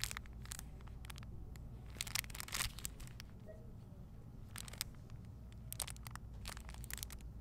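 A small clear plastic bag holding a folded pink polyester makeup towel with a paper label is squeezed and turned front to back between hands with long painted nails. Sharp, bright crinkles and crackles come in bursts over a steady low background hum.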